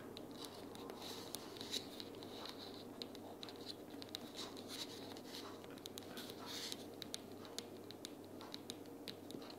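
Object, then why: Cardboard sticky-notes box. Long purple nails tap along the side edges of a closed pink printed cardboard sticky-notes box lying flat on a table. The result is a quiet, steady papery scratching bed with a dense scatter of short, crisp, bright clicks that die away almost instantly.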